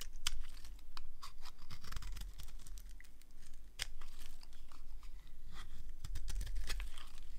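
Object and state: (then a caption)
Dry bar soap being carved. A small blade slices thin strips from the edge of a solid, dry, rectangular green soap bar held in the hand. Each cut makes a short, crisp scraping crunch, with many quick cuts in a row over a low background hum.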